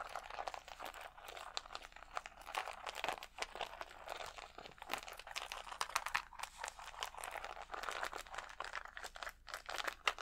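Fingertips scratch across a large, clear plastic rhinestone sticker sheet of small acrylic gems held against the chest. A dense, steady stream of crisp, crinkly crackles and fast ticking clicks fills the clip, sitting in the mids and bright highs with almost no low end. Each tick stops almost instantly.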